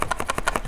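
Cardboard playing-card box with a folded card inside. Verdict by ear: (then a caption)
Loose. A cardboard magic playing-card box with a folded card loose inside is shaken close to a microphone, making about seven quick, dry papery rattles centred around 1.2 kHz. The rattling shows something loose is in the box; the folded card turns out to be the spectator's signed card.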